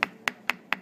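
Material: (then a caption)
Bone. Four sharp, dry taps on the thick, solid petrous part of a skull's temporal bone, known as "the rock." Each tap is a short, bright click centered near 2 kHz that dies away almost instantly with no ring.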